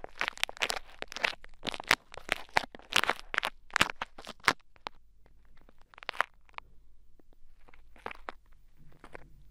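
Two thin wooden sticks poke and scrape pink bead play foam packed into the ear of a mannequin head microphone. Dense, bright crunching and crackling bursts come in quick, uneven succession for about five seconds. They then thin out into sparser, quieter crackles over a low, steady hum.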